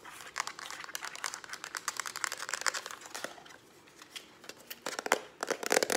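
Long acrylic nails tap fast on the hollow plastic body of a lilac Instax instant camera held in the hand. The result is rapid, dry, bright clicks with no low end and almost no ring. The clicks come in dense bursts, with a quieter gap near the fourth second before they pick up again.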